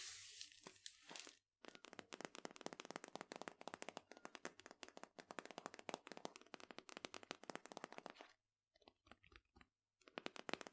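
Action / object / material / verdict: tap / cardboard powder canister / cardboard / none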